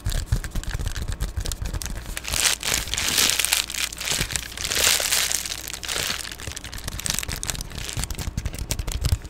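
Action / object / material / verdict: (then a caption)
scrape / plastic padded bubble mailer / plastic / none. An Amazon Prime padded poly bubble mailer is held close and scratched and tapped with long glittery nails, giving a steady stream of crisp plastic crinkles and quick taps over a low rumble. Bright, hissy scratching swells around the third and fifth seconds before settling back into denser tapping and crinkling.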